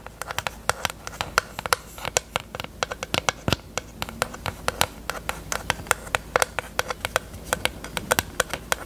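A small, hollow pink plastic eyelash case, held open with its mirror lid up, is tapped rapidly with long nails. About fifty quick, dry, clicky taps sound out, each bright and very short with almost no ring, over a faint steady background hiss.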